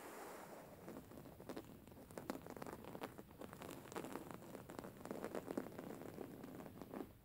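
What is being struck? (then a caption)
Embroidered cotton pillow. Long painted fingernails of both hands scratch a soft, stuffed white cotton pillow with raised thread embroidery. The result is a steady, dense crackling rustle with many quick, sharp scratchy ticks, like light patter.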